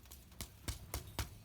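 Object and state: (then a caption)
Baked bagel, hollow (done). A Montreal-style bagel, baked 20 minutes until golden brown on top and underneath, is tapped to check doneness, giving several short, dull, low hollow taps. The hollow sound shows it is baked through and ready.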